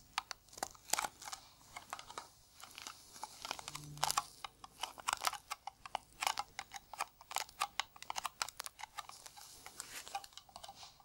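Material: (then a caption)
Tin-plated steel. A round, hollow blue Nivea metal tin is tapped on its lid with bare fingertips and gloved fingers. The result is a quick, irregular run of light, dry clicks and taps with bright, crisp tops, a faint tinny ring around 840 Hz, and almost no low end.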